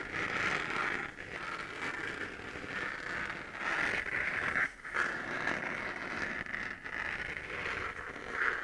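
Long, dark-painted nails scratch the side of a hollow, lit 3D-printed plastic moon lamp with a raised crater relief. The result is a steady, dry scraping with a strong band around 1.5–2 kHz and little low end, briefly pausing near the middle before resuming to the end.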